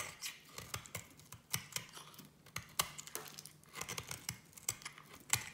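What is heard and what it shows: A solid orange and yellow striped soap bar is shaved with a small metal blade into fine strands, making quiet, dry, bright scraping and crinkly ticks. The strokes come at an irregular pace, each one short with almost no ring.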